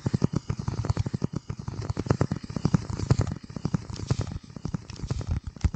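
Fingertips scratch and tap a flat, hand-sized piece of dark corrugated cardboard, bending it slightly close to the microphone. The result is a dense, irregular stream of quick, dry taps and crackly scratches, mostly low and muffled with little brightness.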